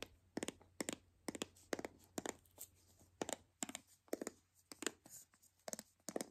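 A white hollow plastic toy capsule ball is held in the hands while long nails scratch and pick at its taped seams. The result is a steady run of short, dry crackling scrapes and clicks with bright edges, each fading almost at once. The sound is quiet over a faint low hum.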